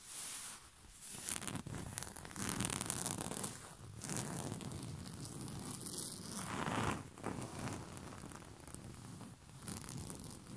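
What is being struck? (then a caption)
Cotton bed sheet over a soft surface. Short fingernails and fingertips scratch and rub a white rose-print cotton bed sheet spread over a soft surface. A quiet, steady, raspy friction noise rises and falls in uneven swells, with brief brighter scratchy bursts over a soft low rustle. It runs continuously throughout.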